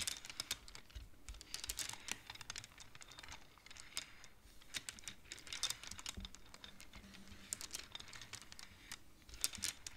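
Fingertips and long nails rapidly push the colored wooden beads along the metal rods of a large wooden-framed abacus so they clack together. The result is a quiet, steady stream of quick, dry, bright clicks that die away almost instantly, with little low end.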